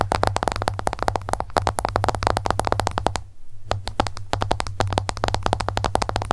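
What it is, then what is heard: Smartphone glass screen tapped with long nails. Long nails tap rapidly on the glass screen of an iPhone lying flat, screen up. The dense, quick clicks are sharp and short, with a brief pause just past the middle before the tapping resumes over a steady low hum.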